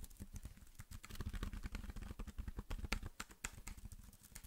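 Fingertips type and tap rapidly on the keys of a slim black plastic computer keyboard held in front of the face and off to the side. The result is a quiet, dense run of short, dry clicks and taps with a dull low thump beneath each one and occasional brighter ticks.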